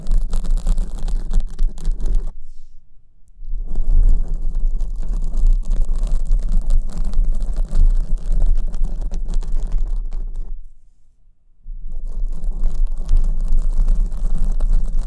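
Long nails scratch the front face of a black porous foam windscreen on the right microphone. The result is a dense, continuous rustling scratch with a heavy low rumble, broken by two short quiet pauses near 3 and 11 seconds before it resumes.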